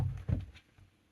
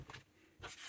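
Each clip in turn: First: hard drive held securely in foam-padded case. Second: hard drive loose inside case.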